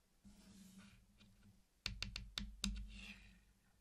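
Fingertips place, tap and click the hard sugar shells of small solid candy-coated chocolates against each other in a flat circular mosaic on a black surface. After soft rustling over a low steady hum, five sharp, bright clicks ring out in quick succession, each dying away almost at once before the quiet shuffling resumes.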